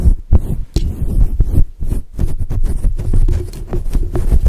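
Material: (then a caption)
Synthetic fur. Long acrylic nails scratch and brush a fluffy grey and white faux fur windscreen covering a microphone. The result is a dense run of deep, muffled thumping rustles, with nearly all the sound sitting in a low, boomy range and almost nothing bright above it.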